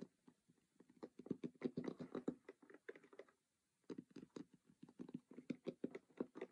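Fingers tap and scratch rapidly on the printed lid surface and edges of a closed cardboard Monopoly game box, making a quiet, dry, typing-like patter of short low-mid taps with almost no ring. The tapping runs in dense bursts, stops briefly just after the midpoint, then resumes at the same pace.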